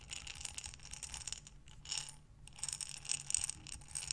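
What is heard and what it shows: A glass mason jar with a metal lid, filled with buttons, is rotated and tilted in both hands with long nails, making the buttons clink and rattle inside. The sound is a bright, high, crisp clatter in quick bursts, with two short pauses before the clinking picks up again.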